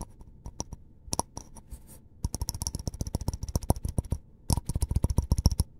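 A small white disposable paper cup, hollow and apparently empty, is held in both hands and tapped and scratched by fingertips and short nails around its side and rim. About thirty quick, dry clicks and taps come in irregular bursts with brief pauses, each a soft low thump with a crisp, bright tick on top that dies away almost instantly.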